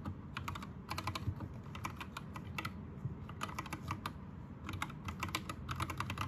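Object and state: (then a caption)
Plastic mechanical keyboard. Fingertips of both hands type on an Anne Pro 2 60% mechanical keyboard with plastic keycaps and Gateron red switches. Quick bursts of bright, clicky key strikes ride over a steady low rumble.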